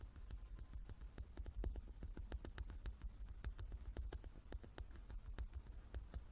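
Long nails tap and scratch the faces of a hand-sized, solid, light wooden die with dark painted pips, held in both hands. Quick, irregular, soft taps with crisp, bright clicks and a dull low body run steadily through the clip. Faint scratching fills the gaps between them, all at a quiet, close level.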